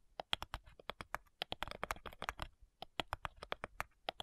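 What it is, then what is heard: Wooden cigar box tapped with nails. Long nails tap rapidly on the front side of a flat, light, hollow wooden cigar box. The taps are crisp, bright clicks with almost no ring, coming in a quick, irregular patter with a brief pause midway. Each tap has a sharp high edge centered around 3.3 kHz.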